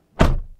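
A Toyota Tundra TRD Pro pickup truck door is closed, heard from inside the cab. A single low, deep thunk with a short muffled decay, sounding solid.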